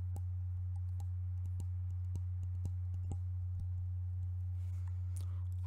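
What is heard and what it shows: A tall white-and-silver metal shaving foam aerosol can, hollow and apparently still filled, is held upright in both hands and tapped with the fingertips and nails. The result is quiet, irregular clicks and light ticks, some with a brief bright edge, over a steady low hum.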